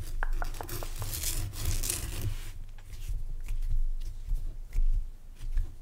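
Fingertips and nails rub and scratch the sides of a lit rock salt lamp, a solid crystal block, in a dark room. A steady low rumble runs underneath, while sharp scratchy bursts and brief ticking clicks come and go over it.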